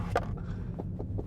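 Knitted-fabric-covered interior trim in a Mini, cheap plastic underneath wrapped in technical fabric, is tapped for a ring test. A few short, dull, muted taps die away almost instantly over a steady low hum. The panel sounds solid and good, passing the test and feeling premium.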